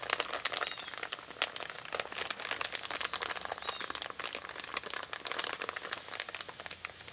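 An empty, envelope-size brown kraft paper Amazon padded mailer lies flat on a wooden table while hands with long pink-painted nails scratch and rub across its surface. Dense, rapid crinkles and scratchy clicks come through, bright and high with almost no low end, each dying almost instantly. The result is a steady, close, papery rustle.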